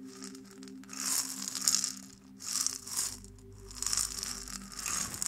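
A single small hollow gourd maraca with a carved, painted shell and wooden handle, filled with seeds, is shaken by hand close up. It gives bright, hissing rattles in swelling bursts over a faint steady low hum.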